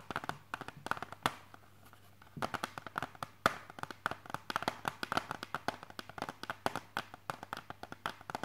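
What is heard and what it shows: Fingertips tap on the front and edges of a hard, clear plastic CD jewel case held in the hands, producing about 46 quick, dry clicks with a mid-pitched tone around 1.2 kHz. The taps come in rapid, uneven bursts, with a brief pause near the two-second mark, and each click dies away almost instantly.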